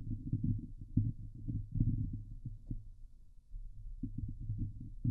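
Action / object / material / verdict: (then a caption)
scrape / steel mesh microphone grille / steel mesh / none. Long glitter nails on both hands scratch the hollow steel mesh grille of a Blue Yeti microphone. The sound is a dense, muffled, low rumbling scrape in quick, uneven bursts with no bright edge, easing briefly just past the middle before building again.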